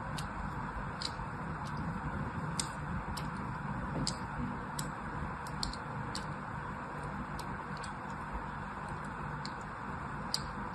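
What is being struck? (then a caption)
Soap bar scored with a thin blade. A thin blade scores a crosshatch pattern into the surface of a solid blue soap bar held in hand. Short, crisp scratching ticks with bright, high edges repeat at an uneven pace over a steady, quiet low rumble of background noise.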